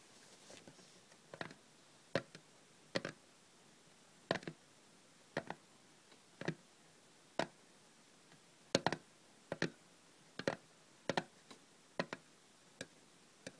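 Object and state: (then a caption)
Metal tin, hollow. Long red nails tap the top and sides of a small, closed, hollow hinged aluminium cough drop tin standing on a table. About 24 sharp, dry, hollow clicks come at an uneven pace, each dying away almost instantly over a quiet background.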